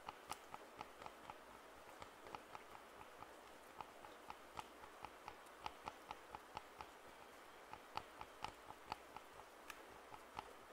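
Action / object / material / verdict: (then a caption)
tap / plastic over-ear headphones / plastic / none. Fingertips tap the earcups of white and black plastic over-ear headphones held in both hands, producing about 27 quiet, dry, hollow clicks with no ring. The clicks sit mostly around the midrange with some bright edges, over a faint, steady hiss.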